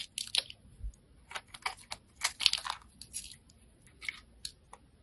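A solid pale-green bar of soap held in the hand is cross-hatched and scraped with a metal blade, breaking off small crunchy soap cubes. Crisp, bright crunching and scraping bursts come in quick irregular succession. Each burst cuts off sharply with almost no low end.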